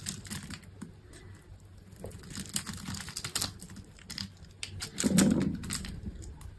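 A metal utility knife blade scrapes and cuts small cubes and slices from a solid green bar of dry soap, scored in a grid and resting on a table. Dry, crisp crackling and crumbling scrapes repeat throughout, with a fuller, louder cut about two-thirds of the way in.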